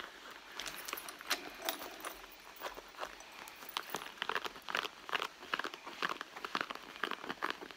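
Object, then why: Pebbled leather handbag. Long blue nails scratch and rub across the pebbled surface of a red leather handbag. Dry, crackly scrapes and quick, bright ticks come in an uneven stream, sitting in the mid and high range with almost no low end.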